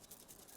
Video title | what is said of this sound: Monty Don: Why We Need Wildflowers 💚 - Season 9 Episode 12 - Gardeners' World | if you shake it, the seeds rattle in the cases